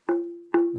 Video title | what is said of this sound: Khám phá hang động ( Tập 3 ) : Vào hang - Nhịp Sống Đông Bắc Vlogs | Rất là đanh.